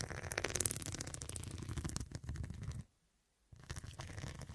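Fingertips and long nails scratch and tap the square faceted glass studs covering a medium, soft, filled fabric cushion. The result is a dense run of rapid clicking and scraping with a muffled low thud underneath. It cuts to a brief silence near the three-second mark before the scratching resumes.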